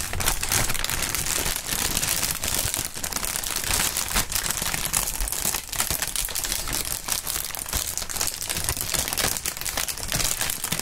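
Clear polyethylene air-pillow packaging film is crumpled and squeezed by both gloved hands. A dense, continuous crinkling and crackling plays at a steady level for about eleven seconds. The sound is bright, with quick tearing-like snaps and a soft low rustle underneath.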